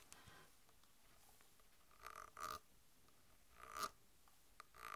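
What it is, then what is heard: Plastic soda bottle. A full Mountain Dew bottle made of PET plastic, with a plastic cap, is tapped on the cap and body with long white nails. Quiet, irregular clicks and short scratchy taps are heard, with brief bursts carrying a bright tone around 1.3 kHz over a soft background hiss.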